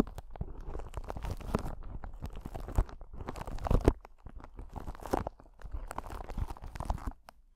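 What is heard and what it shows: A clear solid crystal ball, possibly acrylic rather than glass, is held close to the microphone and scratched and tapped with long acrylic nails. The result is a steady stream of soft, dense crackling scratches and quick taps, weighted toward low tones. A few sharper taps stand out around the middle before the sound thins out at the end.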